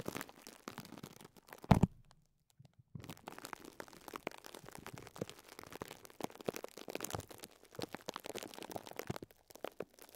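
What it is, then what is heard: Plastic-wrapped foam sponge being squeezed. Fingertips repeatedly press and squeeze a small, soft foam sponge wrapped in clear plastic, crinkling the wrap. Dense, quiet crackles and soft crunches run throughout, with one louder crunch near the start followed by a brief silence before the crinkling resumes.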